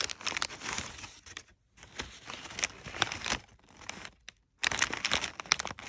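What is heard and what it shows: A hand with short nails squeezes and scratches bunched, crumpled folds of brown kraft packing paper. Bright, crackly crinkling comes in dense bursts, broken by two brief silent pauses, with little low end.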